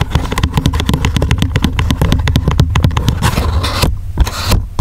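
Fingertips and nails tap and scratch the flat back side of a small, closed, silver-grey coated paperboard box. Quick, dry taps with a dull, low thump repeat in a rapid, uneven rhythm. Brighter, hissy scratching strokes come in toward the end.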